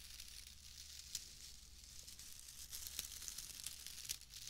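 A pale bundle of wood wool shreds is squeezed and crinkled with fingers close to the mic. It makes a steady, bright, crackling rustle with a few sharper snaps standing out, over a faint low hum.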